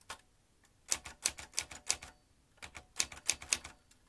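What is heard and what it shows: Fingertips of both hands type on a vintage metal manual typewriter with round metal-rimmed keys and metal typebars. Its sharp, bright clacks come in two quick bursts separated by a short pause. Each strike is dry and fast-decaying with almost no low end.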